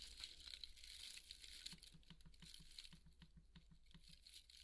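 A large white polystyrene foam ball is held in both hands while fingernails scratch along its surface and cut seam, crumbling the foam. Bright, dry crackling and squeaky scratching come in quick bursts over a faint, steady low hum. The scratches are quiet and close, with no ring after each one.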